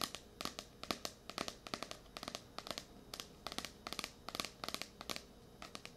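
Long nails tap and scratch on the glossy card cover of a blue *Tears of a Tiger* paperback, a solid paper book. The result is a quiet run of quick, sharp clicks and dry scratching with a bright, crisp edge, each sound ending almost at once.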